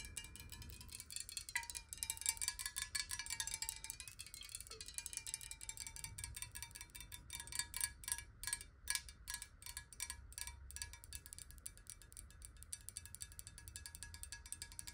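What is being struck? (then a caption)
Glass water bottle, partly filled with water. Long nails tap fast on a clear, square-sided glass water bottle that is hollow, partly filled with water, and held tilted. The result is a dense stream of quick, bright clicks with a steady chime-like ring underneath, over a low background rumble.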